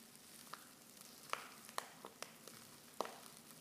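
Fingers with long nails crinkle a silver foil Pickwick tea pouch that is open at the top and half full of loose tea leaves. About eight sharp, bright crackles stand out at irregular moments over a soft, continuous rustling hiss.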